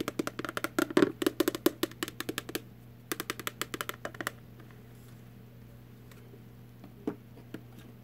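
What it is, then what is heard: Empty cardboard candy box. Long artificial nails tap quickly on an empty little cardboard Warheads candy box, making about thirty dry, hollow clicks with a low-mid body around 300 Hz and almost no ring. The taps come in a fast run, then a short pause and a second run. Near the end, a couple of faint, isolated taps break a quiet room hum.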